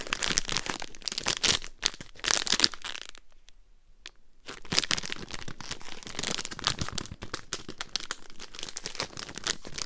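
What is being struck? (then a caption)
Foil-paper sweet wrapper. A Polo mints pack in a foil-paper wrapper is crumpled and twisted in the hands, then tapped and scratched with long green nails. Dense, bright crinkling and crackling fill the clip, with a brief quiet pause around the third to fourth second before the crinkling resumes.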